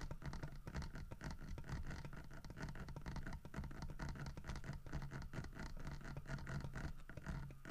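Fingernails scratch the grooved carved surface on the side of a large, solid carved wooden bear figurine holding a fish. The result is a dense, continuous run of rapid, rasping scratches with a steady low hum underneath and little high-end brightness.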